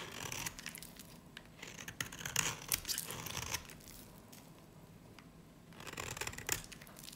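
A dry, solid yellow-green soap bar with a black varnished edge is held in the hand and shaved with a utility knife blade. Quick, bright scraping and crackling strokes come in irregular bursts, with a quieter stretch in the middle before the shaving picks up again.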